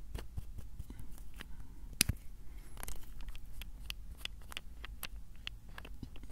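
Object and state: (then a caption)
Plastic bottle cap, tapped and twisted. Fingertips twist and tap the cap of a small blue plastic bottle close to the mic. A steady run of quick, dry clicks and scratchy ticks follows, with one sharp, bright snap near the two-second mark. A faint low rumble sits underneath throughout.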